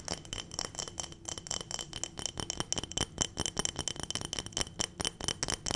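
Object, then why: Glass jar filled with small dried berries. A clear glass mason-style jar full of small dried round berries or beads is tapped quickly with long nails and shaken. Sharp, bright clicks and clinks come in a fast, steady stream over the rattle of the contents shifting inside, and each tap dies away almost at once.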